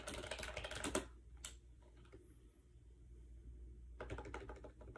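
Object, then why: Plastic wireless keyboard. Fingertips rapidly press the round keycaps of a compact gray plastic AJAZZ 308i Bluetooth keyboard with a hollow shell, resting on a bed. Dense bursts of light, clicky typing taps open and close the clip, separated by a quieter pause with a few isolated taps over a steady low hum.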